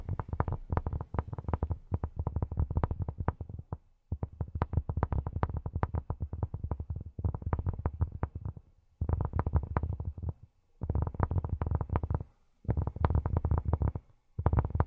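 Cork is tapped with silicone rubber pads on the fingertips, giving rapid flurries of soft, dull, low thuds that stop almost instantly. The tapping comes in long bursts separated by brief pauses, with little high-end brightness.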